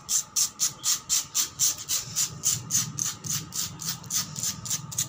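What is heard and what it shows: Long black pointed nails and fingertips quickly scratch and tap a solid, cracked concrete floor. About 19 fast, regular, bright scraping strokes are heard, roughly four per second, each a sharp high rasp that dies away quickly. A faint low rumble and a steady midrange tone sit underneath.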